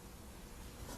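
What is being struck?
Nothing is struck.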